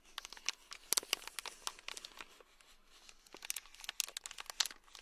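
A small, full, sealed clear plastic bag packed with tiny red beads is held in the palm and scratched and tapped with a thin black stick. Quick, bright crinkling clicks and scratchy rustles come in clustered bursts, with almost no low end, easing to a softer rustle in the middle before the sharp taps pick up again.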